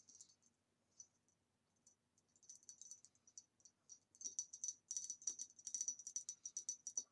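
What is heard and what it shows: A hollow, empty green ribbed glass vase lies on its side on a table while long nails tap and scratch along its ribs. Quiet, bright, clicky taps come in irregular bursts, sparse at first and then quicker and denser, each with a very short high glassy ring and almost no low end.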